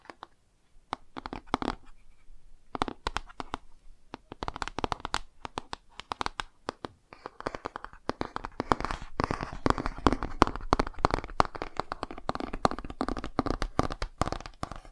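Fingernails tap and scratch the cover and page edges of a laminated cardboard board book, making dry, clicky taps with no ring. The sound starts as sparse, irregular taps and becomes a denser, steady scratching from about halfway through. It is quiet and close, with most of its energy in the low-mid range.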